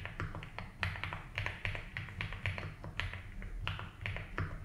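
Both hands tap fast with the fingertips on a compact 75% mechanical keyboard with white and blue ABS plastic keycaps and a light blue plastic case, resting on a grey desk mat. Quick, bright, short clacks follow one another in an uneven stream, each dying away almost at once over a steady low hum.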